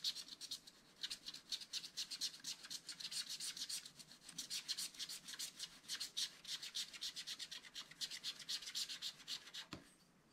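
A wooden stylus repeatedly rubs and scratches over the lower part of a black wax-coated scratch-art card page lying flat in a spiral book. Quick, bright, papery scratching strokes come at roughly four per second in an uneven rhythm, with almost no low end. Near the end a single short low thump sounds before the scratching stops and the clip falls quiet.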